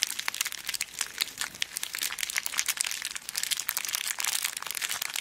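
A small clear plastic zip bag full of colourful beads is held in both hands and squeezed, with nails pressing into the plastic. Dense, bright crinkling and crunching continues throughout, made of many quick, sharp crackles with no low end.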